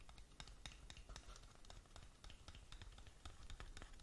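Long nails scratch rapidly along the sides of a closed, hollow, long narrow black cardboard lip gloss box. The result is a quick run of short, crisp scratching ticks with bright, papery edges over a soft, low hollow rumble.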